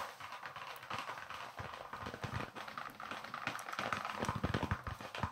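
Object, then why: Leather baseball. A small, solid white leather baseball with red stitching is held in both hands and tapped and scratched with the fingertips close to the microphone. Quick, dry taps and soft scratching patter unevenly over a faint hiss, with muffled low thumps and a mid-range papery texture that grows busier and louder toward the end.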